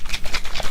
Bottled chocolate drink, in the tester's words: Listen to the Yoo-Hoo keeps sloshing around